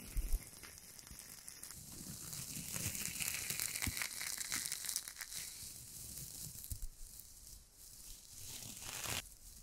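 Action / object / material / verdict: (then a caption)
scrape / coiled stainless steel wire scrubber ball / stainless steel / none. A small hand-sized ball of coiled stainless steel wire scrubber, airy and springy, is held in one hand and squeezed and crunched with fingertips and long acrylic nails, without touching the microphone. Dense, bright crinkling and crackling rise and fall continuously, with soft low thumps beneath.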